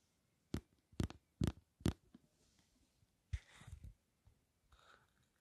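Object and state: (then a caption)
Plastic gel bottle. Long nails tap four times on a hand-sized, green translucent plastic bottle of aloe vera gel with a green cap, filled with gel, giving dull, low knocks. They then scratch across its plastic label and body in short, rustling bursts.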